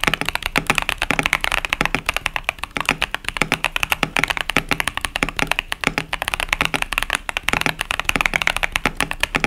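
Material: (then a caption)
Plastic. Continuous fingertip typing with both hands on a 65% KBD67 Lite mechanical keyboard with tactile Boba U4T switches and pastel plastic keycaps. Dozens of rapid, crisp key presses are heard, each a short bright clack that dies away almost at once, with little low end.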